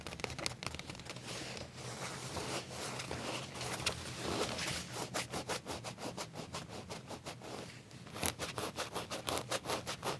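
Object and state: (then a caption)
Leather trousers being scratched. Fingernails of both hands scratch and rub flat black leather trousers near the back pocket. A dense, continuous scratchy rubbing in the first half gives way to quick, rhythmic bright scraping strokes with a soft low rumble underneath.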